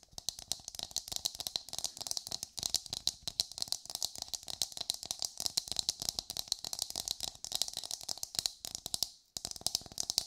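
Long nails rapidly tap and scratch the hard surface of an empty, hollow brown coconut shell half, held dome out in the hands. The result is a dense stream of dry, bright clicks and rasps with almost no low end and no ring, broken by a brief pause just after nine seconds.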